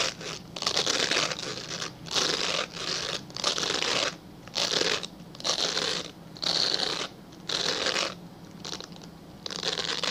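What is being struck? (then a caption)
Glycerin soap bar. A translucent, solid glycerin soap bar held upright is scratched with fingernails, producing repeated bursts of dry, bright, raspy scratching separated by short pauses. Each stroke has a crisp, crinkly texture concentrated in the high range, with almost no low end and no ringing after it stops.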